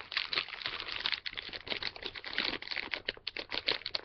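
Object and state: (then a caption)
Plastic candy bag being crinkled open. A small, full, flexible plastic-foil M&M's candy bag is held in both hands while fingertips crinkle and pull at its top to open it. The result is a dense run of bright, crisp crackles and crinkles, with almost no low end and quick-decaying snaps.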